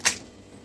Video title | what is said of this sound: खस्ता समोसा रगडा चाट- या धूलिवंदनला बनवा मस्त चटपटीत - Samosa Ragda chaat recipe - holi special | from the sound you can tell how crispy this samosa is